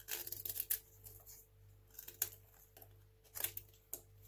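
A craft knife blade slices shavings off a small, solid, dry white hotel soap bar stamped with "SOAP." A series of crisp, bright scraping cuts comes in short bursts, densest at the start and then spaced apart, with a faint steady low hum underneath.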